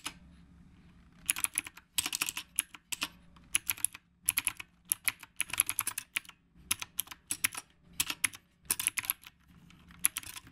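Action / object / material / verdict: tap / mechanical keyboard with round plastic keycaps / plastic / none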